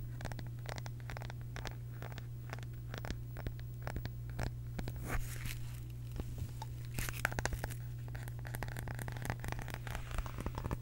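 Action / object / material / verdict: scrape / small round wooden case / wood / none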